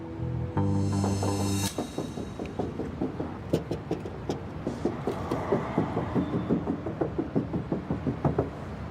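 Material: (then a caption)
Steel. Knuckle knocks on the steel body panel of a used car being inspected for body filler give short, dull taps with little ring, heard over music that opens with sustained tones. The panel sounds fine, meaning there is no filler underneath, since a filled panel sounds more solid.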